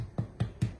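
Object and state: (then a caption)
Hollow-sounding baked soda bread (done). Freshly baked Irish soda bread loaves, just out of the oven in a cast iron skillet after 50 minutes of baking, are tapped three times. Each tap gives a short, low, hollow thud. The hollow sound shows the bread is done.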